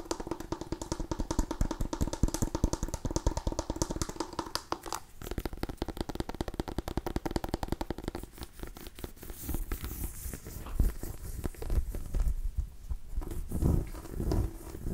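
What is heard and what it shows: A small cream-and-orange striped white mini pumpkin, a hollow gourd, is tapped and scratched with long nails. Rapid, dense dry taps with a steady low hollow tone run through the first five seconds. These give way to brighter, scratchy scraping mixed with occasional deeper thumps, each sound dying out almost instantly.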